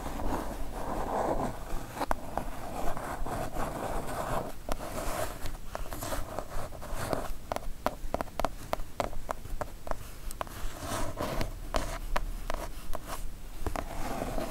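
Long nails tap and scratch quickly on a kraft cardboard mailer box, the package for a Divoom Ditoo-Mic retro pixel art karaoke set. Sharp, dry taps come in a fast, uneven run over soft papery scratching, with a steady low rumble underneath.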